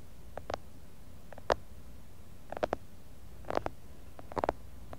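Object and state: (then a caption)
Glass jar filled with kinetic sand. Fingertips tap the outer wall of a medium clear glass jar full of kinetic sand, on both sides, picked up by a mini mic buried in the sand. Short, muffled taps with a hollow tone around 700 Hz come in small, scattered clusters over a quiet, low background hum.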